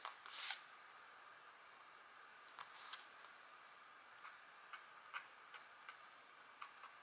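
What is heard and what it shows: A stylus in a green holder scratches fine strokes into a flat, thin scratch art board, black coating over gold foil, with a deer or elk drawing, while the other hand, wearing rings, holds the board. A louder, longer bright scrape comes first, followed by about eight short, quiet, dry scratches spaced apart over a soft, steady hiss.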